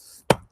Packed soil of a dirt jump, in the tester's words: you hear that dull sound like it's quite dull. It's not really like slapping.